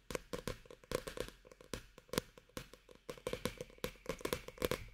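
A small, solid paperback manga with a paper band is held close to the microphone while fingertips tap and handle its cover. A quick, uneven series of short, dry taps sounds, each with a hollow knock around 470 Hz that dies away almost instantly, with soft papery rustling in between.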